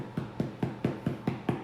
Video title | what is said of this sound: Irish Soda Bread | it has that like more hollow sound when you pat it